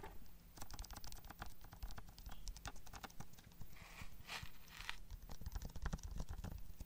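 A small, hollow, closed Harry Potter DVD case of hard plastic with a printed cover sleeve is held in one hand near the microphone and tapped with the fingertips and nails of the other hand. Quick, irregular clicky taps with short, dull knocks follow one another in a dense, uneven patter.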